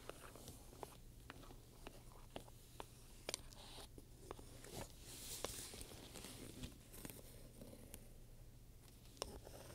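A wooden pointer scratches and taps across the front panel of a black pebbled-leather purse with metal studs while a hand steadies the bag. Quiet, soft scratching is punctuated by short, sharp clicks that die away quickly, over a steady low hum.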